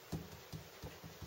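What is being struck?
Nothing is struck.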